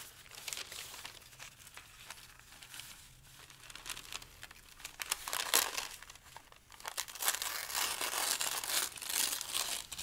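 Several large, thin, light pale-green paper sheets on a dark table are crumpled and torn between the fingertips of both hands. Bright, dense crinkling and crackling fill the clip, with a sharp tearing burst midway. The rustling grows louder and busier toward the end.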